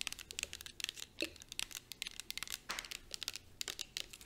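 A clear plastic coconut and rose body mist bottle, filled with liquid and held in both hands, is fast-tapped with long acrylic nails. The result is a quick, uneven run of sharp, bright clicks and crinkly ticks with almost no low end and no ring after each hit.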